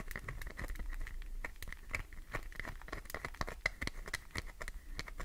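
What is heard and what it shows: Long nails tap fast on the top edge of a solid green glycerin soap bar, chipping off shavings. Quick, dry clicks with a bright, crinkly edge and a faint steady high tone come in a dense, uneven patter, each one dying away almost at once.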